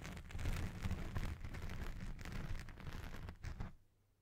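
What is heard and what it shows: Fingertips and nails of both hands scratch and rub a black foam windscreen on a Blue Yeti Pro microphone. This makes a dense, rumbling, crackly scraping that is heavy in the low end, with repeated swells. It stops abruptly near the end, leaving near silence.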